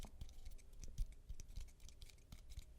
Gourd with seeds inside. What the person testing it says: it's super dried now. For some reason it dried instead of decayed. But, as you can hear, it makes a great shaker.